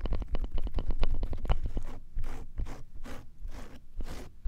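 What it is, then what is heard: Clear slime on plastic tray. A flat layer of clear slime spread on a frosted plastic tray is pressed and rubbed with the flat fingertips of both hands, which have long nails, making sticky squelching contact. The first two seconds bring a quick run of sharp, wet pops and clicks. These give way to slower, longer squelching swishes with a deep, low-heavy body.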